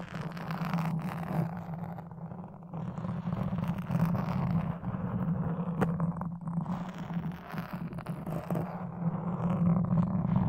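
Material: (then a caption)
Foam. A toothpick scratches and pokes the surface of a black foam microphone windscreen, making close, rough scratching and soft rustling textures. A steady low hum runs underneath throughout, with brief sharper pokes standing out now and then.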